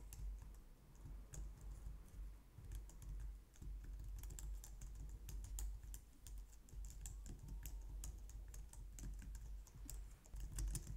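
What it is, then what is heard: Plastic computer keyboard being typed on. Long nails and fingertips type steadily on a compact, low-profile white plastic computer keyboard. The keys give a rapid stream of light, bright clicks and taps over a steady low hum.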